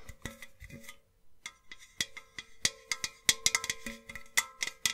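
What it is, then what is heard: Hollow empty enamelled metal vase. Long nails tap a tall, hollow, empty white painted metal milk-churn style vase with two handles and a black rim. About fifteen quick, bright, irregular taps each carry a faint ringing metallic tone, with a short silent gap near the start. The sound is quiet and mostly high.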